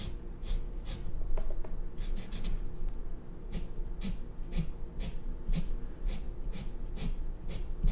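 A black felt-tip marker held in the fingers scratches and rubs across white drawing paper clipped to a cardboard or hardboard clipboard on a red table, inking a design. Short, bright scratchy strokes repeat over a steady low rumble at a fairly soft level.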